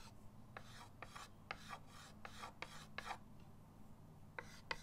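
A white chalk stick is rubbed in short rasping strokes across a flat, solid chalkboard in a wooden frame resting on a table. Each stroke gives a dry, bright scratch, over a steady low hum.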